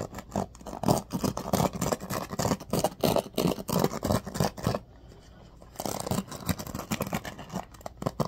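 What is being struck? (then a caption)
Bamboo paddle hairbrush with pin bristles. Fingertips rake and scratch along the pin bristles of a bamboo paddle hairbrush, making quick, uneven scratchy strokes with a low, rough body. The scratching pauses for about a second near the middle, leaving near silence, then resumes slightly softer until the end.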